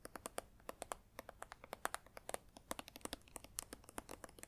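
Long acrylic nails tap and scratch a small green Safeguard plastic hand sanitizer squeeze tube that is partly full. A quiet, rapid run of crisp, clicky taps and light scratches is heard, each dying away almost instantly with bright overtones and very little low end.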